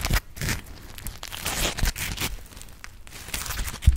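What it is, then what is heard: Dry foam sponge scratched with nails. Long acrylic nails scratch across a dry, palm-sized, grey, textured polymer foam smiley sponge (Scrub Daddy). The result is a close, bright, crinkly scratching and tearing-like rustle in uneven bursts, with soft low thumps underneath.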